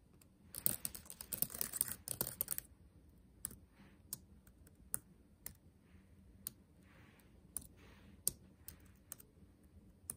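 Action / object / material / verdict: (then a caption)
tap / plastic laptop keyboard keys / plastic / none. Fingertips tap and type on the black plastic keys of a backlit laptop keyboard set in a dark metal body. A dense flurry of quick, bright clicks in the first two and a half seconds gives way to sparser, separate taps with soft patter between them. The clicks are short and dry, with no ring after each one.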